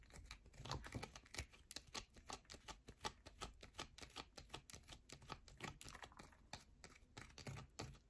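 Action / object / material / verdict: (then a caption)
scrape / bar of soap / soap / none. A solid yellow bar of soap is held on edge in both hands while long nails scratch quickly along its edge. The result is a quiet, rapid, irregular stream of short, dry clicks and scratches with bright, crisp edges. Each click dies away almost at once.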